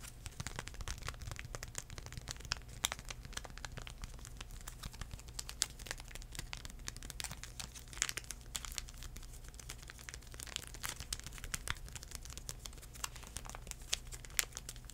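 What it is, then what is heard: Foil-paper wipe packet, crinkled. Fingertips tap, scratch and crinkle a small sealed United sanitizing wipe sachet made of thin foil-paper laminate. The clip is a dense run of quick, dry crinkles and sharp clicks with a bright, crackly top over a steady low hum. Each sound stops almost instantly.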